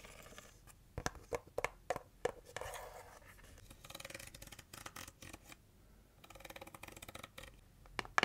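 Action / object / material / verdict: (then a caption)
scrape / cardboard box / cardboard / none. Long nails rub and scratch the inner surface and walls of an empty, open heart-shaped cardboard box base with a white interior. Dry, papery scratching and scraping comes in bursts, broken by sharp clicks, some with a brief ringing tone.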